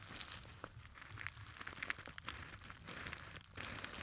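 A small, hollow gold glitter fabric clutch purse is held near the microphone and crumpled and scratched with fingertips. The result is a steady, bright crinkling rustle dotted with short, sharp crackles over a faint low rumble.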